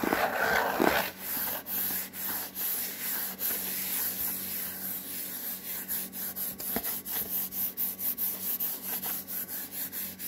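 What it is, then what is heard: Cardboard mailing box being rubbed. A white cardboard Priority mail box is rubbed with the palm and fingers, producing a steady run of soft, papery scraping strokes at about three to four per second. The hissy friction sound is broad and bright, with a brief louder scuff near the start and dull low hum underneath.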